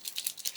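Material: Plastic.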